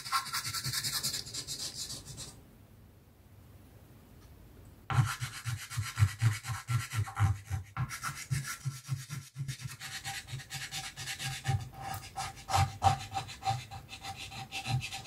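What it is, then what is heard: Chalk rubbed on a chalkboard. A chalk stick held in the fingers rubs in short strokes along a tree line drawn on a flat, solid black chalkboard sheet. A soft, scratchy rub opens the clip, then there is a near-silent pause before a steady run of quick, low, gritty strokes with a brighter hiss fills the rest.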